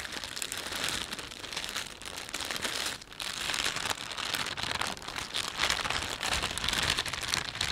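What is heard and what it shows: Fingertips rub, pinch and crinkle the film of a thin, empty panda-print plastic shopping bag, producing a dense, continuous stream of bright, crackling crinkles. The sound stays steady and mostly high-pitched, with little low end, dipping briefly near the three-second mark before returning slightly louder.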